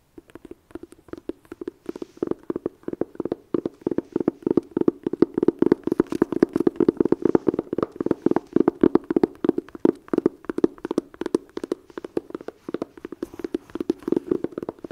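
Long nails and fingertips tap and scratch the lid of a closed red "Blood Sugar" cardboard eyeshadow palette case resting on a blanket. Rapid, dry, short taps with a dull midrange tone come in steady bursts, mixed with soft scratching and almost no ring.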